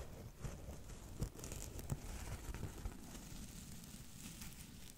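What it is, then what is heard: Dry cellulose sponge scratched. A flat, porous strip of dry blue cellulose sponge is held in both hands and scratched with long nails close to the mic. The result is a steady, dry, crackly crinkling and rasping texture, with a few sharper pops standing out.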